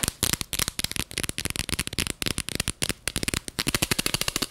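Long fingernails tap quickly on the sides and black screw lid of a small clear plastic jar filled with purple glitter. The result is a fast, uneven stream of sharp, bright clicks and ticks that stop almost instantly, with a faint low knock under some taps.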